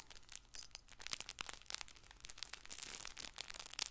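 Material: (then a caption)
Fabric. A hand-sized, colorful stuffed fabric baby ball with felt patches, soft and filled, is held in one hand and scratched with fingertips and nails. Its fabric gives a quiet, bright, dense crinkling and scratching with quick overlapping rustles that rise and fall throughout.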